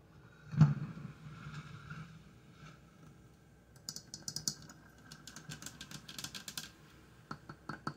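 Long dark-painted fingernails touch and tap the metal sides of a large, hollow aluminum electric coffee percolator with a lid and glass knob, sitting on a tile counter and not yet percolating. A soft low thump at the start gives way to bursts of rapid, bright, clicky nail taps that die away almost at once, over a faint low hum.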